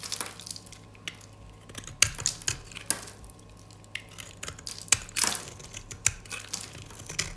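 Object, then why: Round bar of soap scraped with a metal blade. A solid, dry white round disc of soap, held in a hand with long dark nails, is shaved into flakes with a metal utility-knife blade. Each scrape makes a series of sharp, dry, crunchy rasps, bright and hissy with no ring. A faint steady low hum runs underneath.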